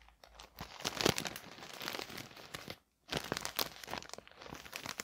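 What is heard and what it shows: A flat parcel wrapped in thin white paper rests on a table while fingertips and a palm rub and press across the paper surface. This produces a steady, bright crinkling with sharp crackles and a louder burst near the one-second mark. The crinkling stops for a brief silence just before the three-second mark, then resumes and continues to the end.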